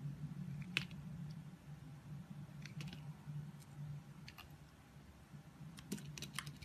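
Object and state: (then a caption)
Bar soap being shaved with a blade. A utility knife blade shaves and scrapes curls off the surface of a solid orange oval bar of soap embossed "Love Nature," held in the palm. Short, crisp, bright scraping clicks come in irregular bursts over a steady low hum.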